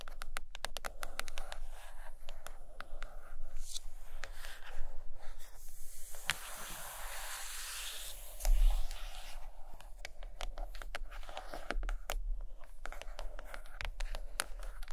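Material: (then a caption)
Cardboard. Long acrylic nails scratch and tap the cover of a large, solid purple hardcover book lying closed on a carpet. Dense, dry scratches and quick crisp clicks run throughout, with brighter sweeping scrapes in the middle and a steady low hum underneath. Each tap dies away almost instantly.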